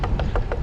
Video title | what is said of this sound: GPS Girl Rides Carbon Bike (And So Can You!) | if you can hear that i was knocking on the carbon fiber